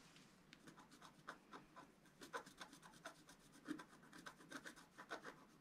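A wooden stylus scratches lines into the coating of a flat black-coated scratch-art card. A quiet, steady run of short, dry rasping strokes is heard, each a bright scratchy burst that stops almost at once.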